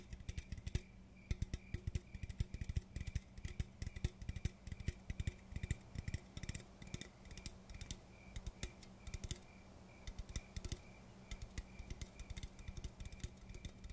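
Rapid, uneven fingertip taps on an aluminum coffee can, a continuous run of short, dull clicks. The taps are low and muted, with little ring and a faint hollow tone under each one.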